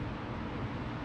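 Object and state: Nothing is struck.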